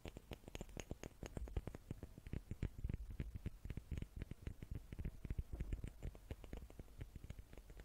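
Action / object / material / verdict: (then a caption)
tap / small wooden cubes / wood / none. Small wooden cubes are tapped with the fingers in a fast, steady stream of soft, dull knocks. Each tap is short and dies almost at once, with most of the sound sitting low and thumpy and only a faint bright click on top.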